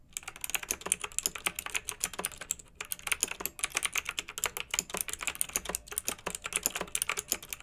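Two hands type with their fingertips on a pink backlit, typewriter-style plastic mechanical keyboard with round metal-rimmed keycaps. A steady stream of sharp, bright clicks and clacks with almost no low end and no ring rolls on with uneven rhythm, broken by a couple of brief pauses.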